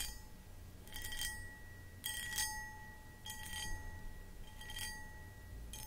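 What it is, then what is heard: Cut crystal footed bowl. Long acrylic nails scratch the textured surface of a hollow, empty, medium cut crystal footed pedestal bowl. Short bursts of bright, crackling scratches recur every second or so. A faint glassy ring hums steadily beneath them over a low background rumble.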